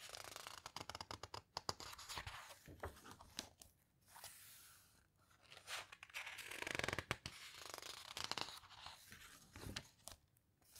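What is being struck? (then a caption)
Hardcover book with glossy paper pages. Long-nailed fingertips rub and squeeze the glossy pages of an open hardcover guitar book near the spine, making soft, bright crinkling, scratching and tapping sounds at a quiet level. Near the end, a page is flipped with a brief papery swish.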